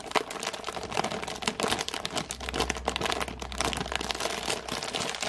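Long painted nails scratch and tap the thin plastic film wrapped over a full cardboard biscuit box and its clear window. The result is a dense run of quick, bright crinkles and small taps over a faint low hum.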